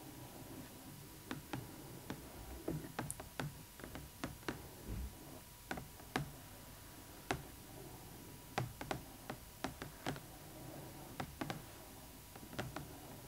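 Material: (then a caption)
Plastic, cardboard. Long acrylic nails tap and click on the clear plastic window of a large, hollow printed-cardboard Rainbow High Winter Wonderland Skyler Bradshaw doll box with the doll inside. About two dozen short, dry, quiet clicks come at an irregular pace over a faint steady hiss, each fading almost at once.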